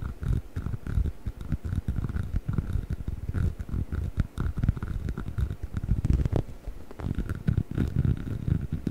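Fingertips and nails scratch along the textured rubber surface of a hollow yellow rubber chicken toy held horizontally near the mic. The result is a dense, continuous run of low, muffled scraping and rubbing with quick, dry taps and almost no high end.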